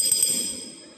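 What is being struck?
Glass bottle partly filled with water.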